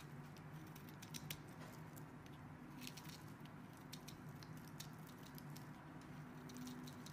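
A metal blade shaves and scrapes the edges of a solid green rectangular soap bar held in one hand with red painted nails, as green soap flakes pile up below. Quiet, steady crisp scraping and soft pattering strokes run throughout, with brief bright flicks over a low, steady hum.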